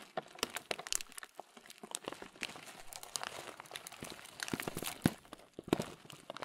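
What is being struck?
Thin plastic bag of oat muesli.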